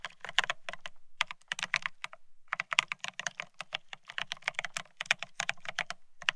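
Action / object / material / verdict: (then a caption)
tap / mechanical keyboard with ceramic keycaps / ceramic / none. Rapid typing with both hands' fingertips on a Bear65 mechanical keyboard fitted with blank white matte ceramic keycaps (Cerakey) on a steel plate, resting on white cloth. A dense run of crisp, bright, short clacks with a faint low thump under each press, the keystrokes coming in quick irregular bursts with brief pauses.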